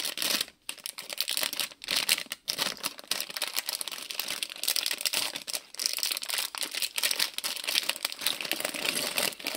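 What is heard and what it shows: A small printed plastic-film Lego City polybag filled with bricks is held in both hands while fingertips crinkle and shake it above a table of untouched bags. Nearly continuous bright, crisp crinkling with quick rattly ticks fills the clip, broken by brief quiet gaps near the start.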